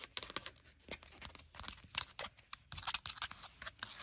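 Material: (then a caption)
Paper. Long burgundy nails scratch and tap on the page block edges and cover of a paper-covered hardcover notebook. The result is a quiet, rapid series of dry, bright, crisp scratching and tapping sounds with papery rustle, almost no low end, and no ring after each hit.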